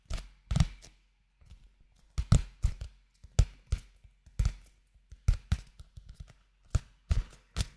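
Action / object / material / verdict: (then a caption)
tap / paperback book with glossy card cover / paper / none. A small blue-covered paperback manga, a solid paper book with a glossy card cover, is held in both hands close to the microphone and tapped on the cover with fingertips and nails. Irregular bursts of soft, dull, low thuds come with brief bright clicks from the nails, and each tap dies away almost at once.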